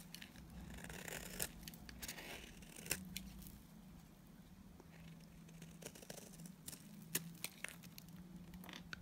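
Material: Soap.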